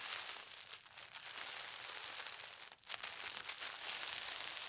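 A thin polka dot tissue paper sheet is folded in half and smoothed flat with the fingertips and palms. The result is a steady, bright, high crinkling rustle with almost no low end, easing briefly twice before building back up.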